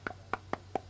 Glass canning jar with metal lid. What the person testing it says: This is the difference between an unsealed jar sound. You hear that, it's a dull thud.